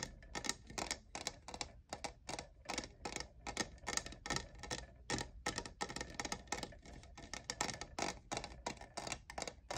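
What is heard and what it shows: Fingertips and nails tap the lower sides of a hollow, lavender, diamond-textured plastic cold cup fitted with a lid and straw. The taps come quickly and unevenly as short, dry, bright clicks with almost no ring, much like typing.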